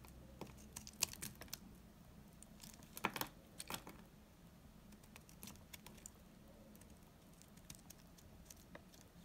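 A knife blade cuts hard curled chips from a solid, old, dry amber-brown laundry soap bar held in the hand. Sharp, dry, bright snaps and crackles come in irregular bursts over a faint low hum, with the loudest cracks near the start and around three seconds in.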